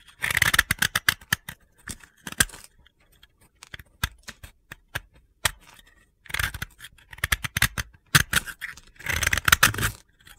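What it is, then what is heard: Dry soap block. A utility blade scrapes and cuts into a solid, hand-held piece of pale blue dry soap, shaving off crunchy flakes. Dense bursts of gritty, bright crunching alternate with sharp, short clicks and brief quiet gaps, each cut dying away almost instantly.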